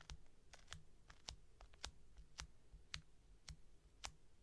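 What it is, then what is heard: Foam squishy toy tapped with nails. Long painted nails tap and scratch the surface of a small, solid, white round panda-face squishy made of soft polyurethane foam that rests on a table. About eleven sharp, bright clicks come at an uneven pace over a quiet, low hum, each dying away almost instantly. Faint scratching fills the gaps between taps.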